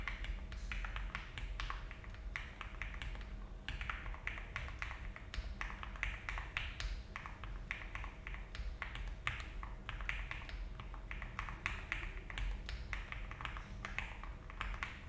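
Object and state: Mechanical keyboard with plastic keycaps.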